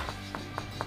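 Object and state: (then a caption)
Well-bonded floor tile. A tool taps ceramic floor tiles on a terrace one by one, producing short, dull, tight knocks that die away quickly over a steady low hum. The solid sound shows the tiles are well bonded and firmly attached to the screed.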